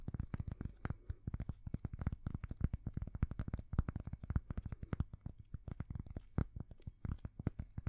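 A thin, solid square cork coaster held right up to the microphones is scratched and tapped with long fingernails. It makes a rapid, dense stream of short, dry, low thumps mixed with soft scratching, with no ring after each tap.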